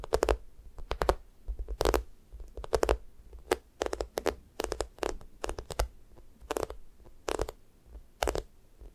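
Long nails scratch and fingertips press and drag over the sticky top of a yellow, sticky-coated squishy toast made of solid soft foam. Short, irregular bursts of tacky crackling and peeling noise repeat throughout, each with a broad bright hiss and a low soft thump, separated by quiet gaps.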